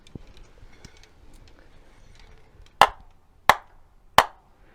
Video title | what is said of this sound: HVAC 009 Liquid Line and Liquid line filter drier intro | you can tell if you tap on it it sounds solid